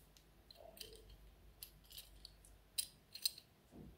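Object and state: Metal enamel pin.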